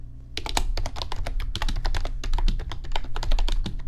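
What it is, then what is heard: Plastic computer keyboard being typed on. A plastic RGB backlit computer keyboard is typed on with fingertips, giving a fast, steady stream of crisp, bright clicks over a low, constant hum. The keystrokes run almost unbroken for nearly the whole clip.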